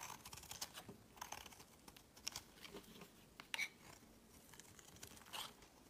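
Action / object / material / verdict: scrape / bar of soap scraped with a blade / soap / none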